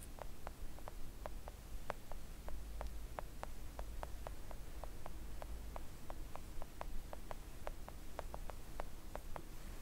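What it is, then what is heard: Silicone nail art mat. Long acrylic nail tips gently tap a flat pink silicone nail art mat lying on a table. The result is a steady series of soft, short, dry taps that die away almost instantly, heard over a quiet low hum.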